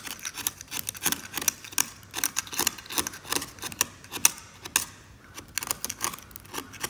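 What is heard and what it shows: A hand draws a metal scalpel across the brown varnish on the same oil painting, scraping the varnish away and scattering flakes around. A rapid series of short, dry, bright scrapes follows, each crisp and quickly fading, with almost no low end.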